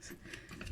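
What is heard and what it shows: A pan-fried Turkish borek filled with cheese and parsley, cooked on both sides, is cut into a piece with four dry crunching crackles over a low rumble. The crust sounds nicely crispy.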